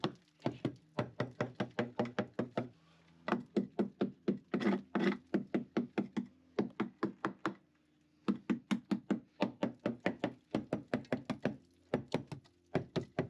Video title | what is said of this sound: Engine Room Nightmare on The Ship! - Ep 111 #boatrestoration #engineroom | klinkt anders, maar het is niet rot